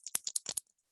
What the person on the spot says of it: the problem with this is that it's loud